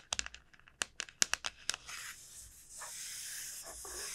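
Long nails tap and scratch the shell of a large, hollow dried gourd. A quick series of sharp, bright clicky taps comes first, then gives way to a steady, hissy scratching across the shell that continues to the end.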